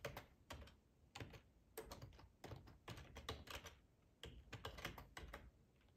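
Fingertips of both hands type on a black plastic ergonomic split computer keyboard with a hollow housing, lying on a tablecloth. Quick bursts of clicky, hollow key taps with a low thump under bright clatter come in uneven clusters with short pauses between them. Each tap dies away almost instantly.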